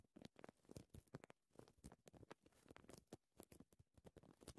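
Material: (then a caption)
Paper. Short dark green-painted nails from both hands tap and scratch a thin printed paper care label, a flat strip lying on dark fabric. The result is a quiet, rapid patter of dry, papery taps and scratches, each dying away almost instantly, with a soft low thud underneath and little brightness.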